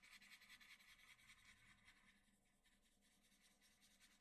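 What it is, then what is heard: Pencil shading on drawing paper. A graphite pencil scratches and shades around the lips of a graphite portrait on a large flat sheet of white drawing paper. The result is a soft, steady, bright scratching sound with a slightly uneven rhythm. It is a bit louder at first and fades slightly toward the end.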